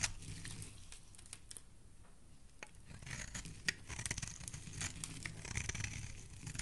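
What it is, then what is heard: Soap bar being scraped. The side of a solid pink marbled soap bar is scraped with a metal blade, giving a steady, dry scratching with crisp crackles and sharp bright clicks over a soft low rumble. The scraping grows a little denser and louder toward the end of the clip.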